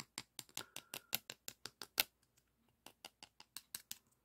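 Fingertips rub and scratch the surface of a flat, thin, solid beige emery board nail file held in both hands. About eighteen short, dry, bright scratching strokes come at an uneven pace, with a brief quiet gap in the middle. Each stroke stops almost instantly with no ringing.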